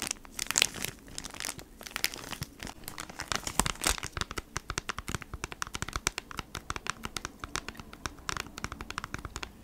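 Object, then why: Cardboard package in a plastic sleeve. Long nails scratch and tap on a cardboard beeswax wrap pack in a plastic sleeve, first on the back and then the front. Dozens of quick, bright crinkling taps and scratchy rustles rise and fall, each dying away almost instantly. The sound is mostly high and papery, with little low end.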